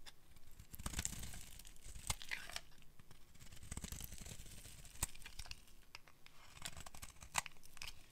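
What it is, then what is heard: Dry soap bar being carved. A solid, dry, dark green oval bar of soap held in the hand is carved with a metal utility blade, scraping off shavings. Dry crackling and tearing scrapes repeat in quick strokes, with sharp bright clicks standing out among a soft, low rustle.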